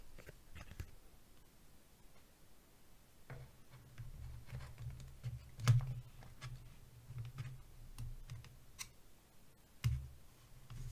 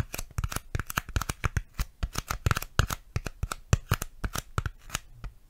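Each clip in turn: First: plastic box tapped with fingers. Second: styrofoam tapping.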